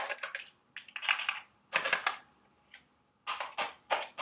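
A small, hollow, printed milk-carton-shaped cardboard candy box for Dubble Bubble gum Easter eggs is held in hand and tapped and scratched with long, sharp acrylic nails. Quick clusters of crisp, bright clicks and scratchy rasps decay almost instantly, with no low end. Short quiet pauses separate the bursts.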